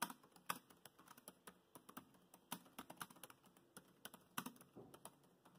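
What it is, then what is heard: Plastic laptop keyboard. Fingertips of both hands tap rapidly on the black plastic chiclet keys of a grey laptop keyboard. About 27 quick, irregular clicks and clacks sound in short bursts, each dry and short with a bright edge and a soft low thud beneath.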